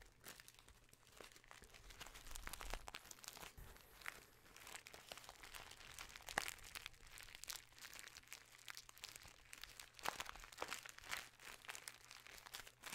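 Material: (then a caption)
Paper. A small, filled brown kraft paper bag with a white label and red seal is crinkled, rubbed and squeezed with the fingers. Dense, crisp crackling and rustling fills the clip with bright, high paper texture, broken by a few sharper crunches.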